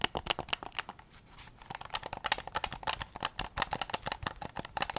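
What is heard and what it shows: Fingertips tap and scratch the front shell and grips of a hollow, white hard-plastic PS5 DualSense controller held close to the recorder. Rapid, dry, bright clicks come in quick clusters, broken briefly by a softer scratching stretch near the one-second mark.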